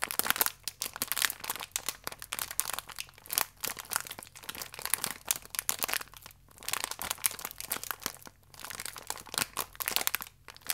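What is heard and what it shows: A full plastic wrapper holding a single biscuit is held flat in both hands while fingertips and nails rub and press the thin film. Dense, bright crinkling and crackling runs continuously in rapid, overlapping bursts. There are brief quieter gaps and almost no low end.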